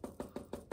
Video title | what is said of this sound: Paper mache boot flower pot | when it's dry it sort of makes a hollow hard noise